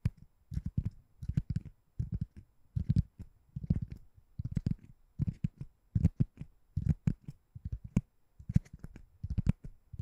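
A white, ring-shaped door stopper that looks like solid foam or rubber is held above a microphone and tapped and scratched with long nails. Soft, muffled low thuds come in quick clusters, with faint bright clicks from the nails on top.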